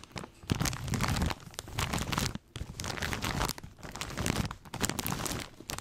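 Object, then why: Plastic snack bag filled with corn rings. A large plastic snack bag full of corn rings is held up and squeezed and crinkled with the fingertips. The result is dense, bright crackling and crinkling with a soft low rustle beneath it, coming in bursts separated by brief quiet pauses.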